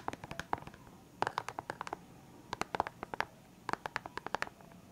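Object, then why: Clear hard plastic pen case filled with markers. Fingertips and nails tap and scratch the lid of a full, clear hard plastic box of felt-tip pens. Four bursts of quick, dry plastic clicks land with a hollow tone around 850 Hz and bright edges, each tap dying almost instantly against quiet hiss.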